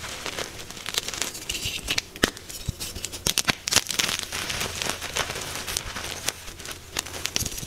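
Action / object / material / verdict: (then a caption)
scrape / magnesium carbonate gym chalk block / magnesium carbonate / none. A soft, solid white magnesium carbonate gym chalk block is held in chalky hands and crushed with the thumbs into crumbly chunks and powder. Dense, bright crackling and crumbling is heard, with many sharp, dry snaps over a soft hiss of falling powder. The snaps stop instantly with no ring.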